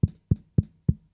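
A bare microphone with no foam windscreen is tapped four times, giving short, dull, low thumps with a brief decay. The uncovered mic makes the taps sound louder and more direct than they would through a foam-covered one.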